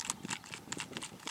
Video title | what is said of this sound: Dissecting a Mummified Lizard | it weighs nothing it is hollow when I shake it I can hear stuff rattling around inside